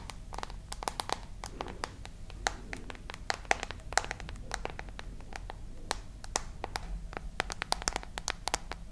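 Long nails tap rapidly and irregularly on the back and edges of a dark glass and metal smartphone held horizontally. The taps are sharp, dry clicks with a bright tick and almost no ring, some louder than others. A steady low rumble sits underneath.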